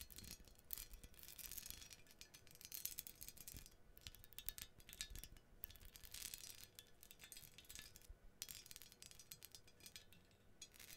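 Long nails quickly tap and scratch the arms and cups of an ornate gold-toned metal menorah with jeweled scrollwork, about 25 cm wide, held close to the mic. The result is a quiet, steady stream of bright, crisp clicks and thin scratchy rasps that stop almost instantly with no lingering ring.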